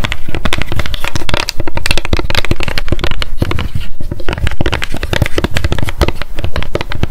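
Long decorated acrylic nails tap and scratch rapidly on a small pink m.memo spiral-bound paper notebook with a card cover, held in the hands. A dense stream of quick, crisp clicks and scrapes runs without pause, each hit carrying a low, boomy thud.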